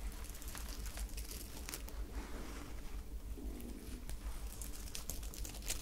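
Long nails scratch and rub the surface of a glittery sequined top with a white ruffled fabric part, held up in the hands. The sound is a soft, steady crinkling and scratching with brief bright, tearing-like clicks, over a constant low hum.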